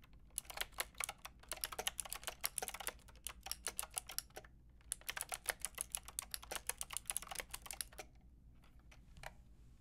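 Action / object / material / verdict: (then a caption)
tap / plastic mechanical keyboard with round keycaps / plastic / none. Typing on a Lofree plastic mechanical keyboard with a plastic frame and round keycaps, done with long red nails and finishing with one-hand key presses. Rapid bright clacks come in two dense bursts separated by a short pause, then trail off into a few sparse taps over a faint low hum.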